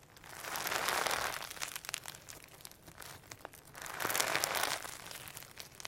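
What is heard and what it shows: Fingertips of both hands squeeze and stretch a firm slime packed with holographic sequins and pearl beads. The result is a dense, bright crinkling and crackling that swells loud twice, around the first and fourth seconds, with quieter sticky clicks in between.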